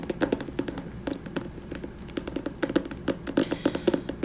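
Fingers tap rapidly and irregularly on a hardcover copy of the autobiography "Moonwalk," producing a steady stream of short, dry taps. Each tap has a hollow mid-range thud and stops almost instantly.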